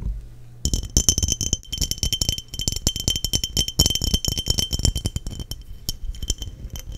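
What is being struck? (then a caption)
Glass mason jar. Long nails rapidly tap the body of a clear, hollow, empty glass mason jar held in hand close to the microphone. After a brief quiet start, a dense stream of sharp, bright clinks follows, each with a short glassy ring over a soft low thump from the handling.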